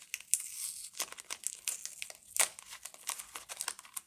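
A single hand-sized, solid Camay Natural bar soap in a paper and foil-lined wrapper is turned and rubbed between fingers with long glittery nails. The wrapper gives off soft, dry crinkling and rustling with quick, bright crackles and scratchy ticks and almost no low end. The sound stays delicate and continuous throughout.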